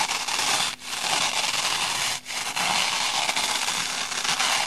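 A small, light, porous rectangular kitchen sponge, made of layered green and pink soft foam with a black abrasive scouring-pad layer in the middle, is held in both hands and rubbed and scratched with long painted nails. The result is a steady, bright, crackling scratch with almost no low end, broken by two brief dips before it resumes.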